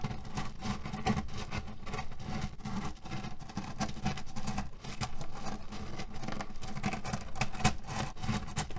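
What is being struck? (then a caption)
Cotton pillow filled with cherry pits. A cotton canvas pillow filled with cherry pits is scratched and kneaded with fingernails and fingertips. This makes a steady, dense crunchy rustle and patter, mostly low and rumbling, with faint bright clicks of the pits shifting.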